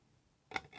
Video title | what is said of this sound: LTO Driver's License Fake (mats mix 2) | malutong siya guys